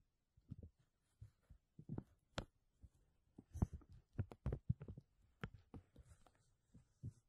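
A thin, flexible, clear, empty textured plastic vacuum bag sheet draped over a mesh dome is pressed, grasped and crinkled by fingertips and short nails. The result is quiet, irregular bursts of soft, low thudding crinkles with short, sharp bright ticks scattered through.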